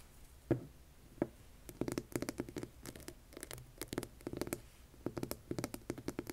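A hand-sized solid rough rock is held, then set on a table, while long nails scratch and tap its surface. Two separate taps come first, followed by a dense run of quick, dry clicks and scratches with short low thuds and almost no ring.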